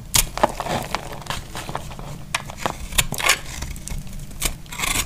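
A small knife slices flakes off a solid, dry orange soap bar held in the hand. Short, dry scraping and crackling strokes repeat throughout, with bright, crisp edges over a soft low rumble. The sharpest cuts land near the start, around the three-second mark and just before the end.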